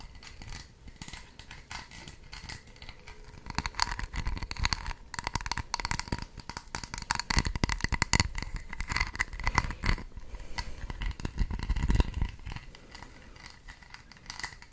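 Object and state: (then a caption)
Textured plastic case tapped and scratched with nails. Long red acrylic nails rapidly tap and scratch along the raised braided ridges of a small red plastic cylinder-like case held in both hands. The result is a dense, continuous run of crisp clicks and scraping with bright, rasping overtones over a low rumble. The sound swells louder through the middle and eases off toward the end.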